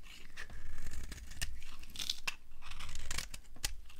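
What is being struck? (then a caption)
Bar of soap scraped with a knife blade. A metal knife blade scrapes and shaves a hand-sized solid block of dry green soap held in the palm, with soap shavings piled nearby. Crunchy, crumbly cuts are heard as short dry scrapes over a low rumble, with sharp bright clicks breaking through now and then.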